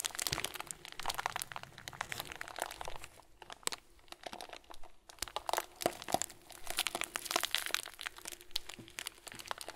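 A hand-sized clear plastic bag full of small white plastic pearls is squeezed and crinkled with fingers and thumbs. It gives a dense, bright crinkling and crunching full of quick, sharp crackles, easing briefly around the middle before building again.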